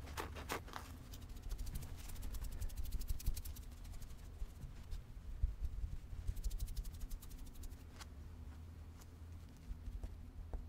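Long red-painted nails scratch and rub a medium, soft, pink furry stuffed teddy bear with a red bow. The result is a low, steady rustling rumble broken by clusters of quick, bright, dry scratching ticks that come and go in bursts.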